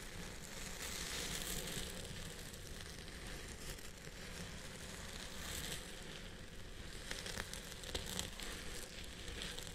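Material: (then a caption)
Synthetic fiber. Fingertips and short nails scratch and rub through the fibers at the crown of a purple wavy synthetic wig held in place on a head form. The result is a steady, dense rustling and scratching with a low rumble and a bright crackly hiss. A few sharper crackling scrapes stand out near the end.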